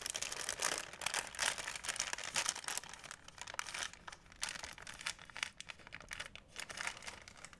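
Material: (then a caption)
Plastic. A white plastic shopping bag, folded flat, is creased and crinkled with the fingertips. Dense, bright crinkling rustles come in uneven bursts with almost no low end, swelling and fading as the bag is crinkled and folded.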